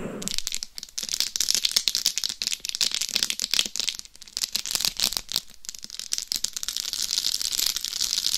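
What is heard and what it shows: Long acrylic nails scratch the top of a life-size binaural dummy head microphone whose hard shell is fully covered in small rhinestones. The result is a dense, bright, rattling crackle of quick clicks and scrapes that swells and dips over about eight seconds, with almost no low end.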